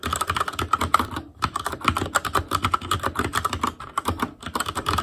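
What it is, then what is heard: Plastic mechanical keyboard. Fingertips type rapidly on an Asus Claymore Core mechanical keyboard with plastic keycaps and Cherry MX Red switches. A quick stream of sharp, short clacks, with a clicky tone around 1.3 kHz and a bright top, is broken by brief pauses near 1.3 and 4.3 seconds.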